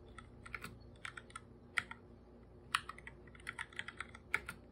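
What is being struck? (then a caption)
Plastic computer keyboard. Bare fingertips type on a full-size black computer keyboard with plastic keycaps and a hollow body, producing a quick, irregular run of dry, clicky taps. Each tap is bright and short with almost no ring, set over a quiet, steady background.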